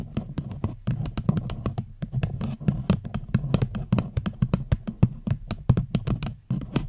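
An empty floral paper cup held over the microphone is tapped rapidly and continuously with long nails. The taps are short, dry and clicky, with a hollow, boomy low body around 117 Hz and very little high end.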